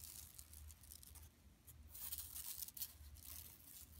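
Long nails scratch across the surface of a large, flat, empty yellow woven plastic mesh tote bag lying on carpet. The result is a quiet, continuous bright rasping that swells in louder bursts over a steady low hum.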